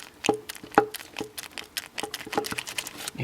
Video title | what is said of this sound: 2JZ-GTE VVTi Wiring & running - Knocking LS1 removal and disassembly Nissan S14 Drift car build! | hear it sloshing around a little bit and the other one back here is a little Loose as well